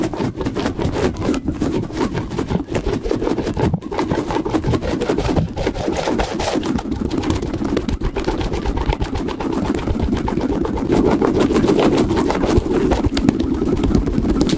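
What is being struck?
Soft rubber puffer ball.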